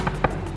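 Two knocks on a hollow stone palace wall at Agra Fort give short, dull thuds with a low hollow tone. The wall is hollow, which is why voices carry and echo from corner to corner.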